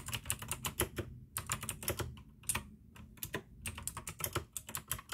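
Fingertips type fast on a full-size pink plastic AUKEY mechanical gaming keyboard with RGB backlight, clicky blue switches and a hollow case. Rapid bursts of sharp, bright clicks come in clusters with brief pauses between them. Each keystroke also carries a low, hollow thock from the case.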